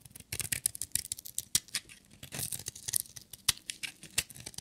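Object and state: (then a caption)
Dry bar soap being shaved. A metal utility knife blade shaves a solid, dry, black and glitter striped bar of soap. It makes a rapid, irregular run of crisp, bright scraping and crackling strokes with very little low end. Each stroke stops dead with no ring.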